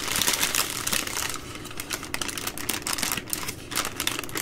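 Long green nails tap and crinkle the plastic wrap around a bundle of three full, soft plastic baby wipe packs held up in both hands. The result is a dense run of bright, crisp crackles and light ticking taps, with a thin low rumble underneath. The louder crinkling at the start eases into a quieter stretch, then picks up again in bursts.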